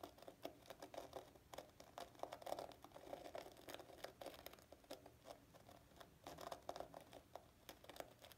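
Painted fingernails scratch a palm-sized block of dried loofah gourd sponge, a porous, hollow-textured fibrous plant material wet with soap suds in a sink. The result is a quiet, dense patter of short, crisp, crinkly scratches and clicks with a midrange tone and almost no lingering ring.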